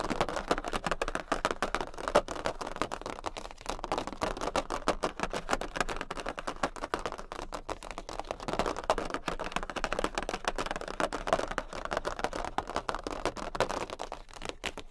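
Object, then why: Large thin cardboard playing card. A large, thin jumbo cardboard Queen of Hearts playing card is tapped and lightly scratched with the long pink nails of both hands. Rapid, dense clicking taps run continuously, with a papery, mid-range tone and a soft scratching texture underneath. Each tap is short and dry with almost no ring.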